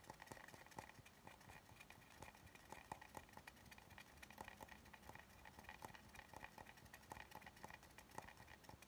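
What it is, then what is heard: Wooden cutting board. Fingernails tap and scratch along the thick rounded edge of an oval solid wooden cutting board held horizontally. The result is a quiet, steady stream of quick, dry knocks with a hollow mid-pitched tone and very short ring, layered over soft scratchy rasping.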